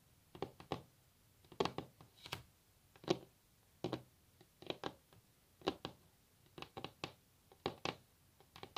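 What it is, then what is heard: Varnished wooden tabletop tapped with nails. A solid varnished wooden tabletop is tapped with long natural nails, then hands are laid flat on it. Quick, dry clicking taps come in irregular bursts across the clip, each dying almost instantly with a bright edge over a woody body.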